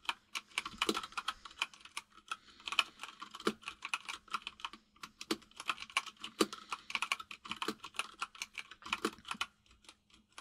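Both hands type with their fingertips on a white full-size mechanical keyboard with plastic keycaps resting on a desk. Around fifty rapid, bright, clacky key taps come in bursts with brief pauses, each click short and crisp over a faint low hum.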